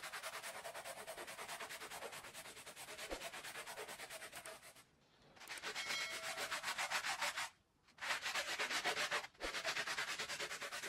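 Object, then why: Wool pile rug scrubbed with a plastic bristle brush. A small, soapy Persian-style rug of thin woven wool pile lies flat on the floor and is scrubbed vigorously with a handheld plastic bristle brush, the other hand resting on the rug. The strokes make a fast, steady, bright scratchy rasp that breaks off briefly three times before resuming.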